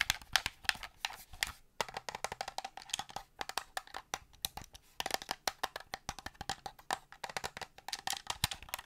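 Painted fingernails tap rapidly on the shell and buttons of a hollow black plastic Xbox-style game controller as it is held and turned in the hands. The taps give sharp, bright, wood-block-like clicks with almost no ring and little low end. They come in quick bursts with a brief pause just before the two-second mark.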